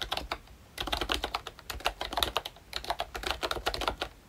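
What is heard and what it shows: Fingertips type on a full-size ROYCHE Disney Mickey Mouse retro membrane keyboard with a hollow plastic case and round plastic keycaps. After a brief pause near the start, a steady run of quick, bright plastic clacks follows, each dying away almost instantly.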